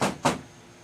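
A van's sheet metal wall panel, backed with polyfill batting insulation, is knocked twice. Each knock is a short, dead thud that dies away quickly with almost no ring. The insulation makes a big difference in how the panel sounds.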